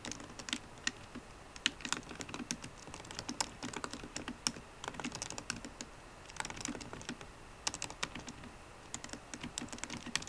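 Black plastic scissor-switch keys on a solid 13-inch silver aluminium MacBook Pro are tapped with the short-medium painted nails and fingertips of both hands. Quick, crisp, bright clicks come in steady bursts with brief pauses between them. Each tap dies away almost instantly.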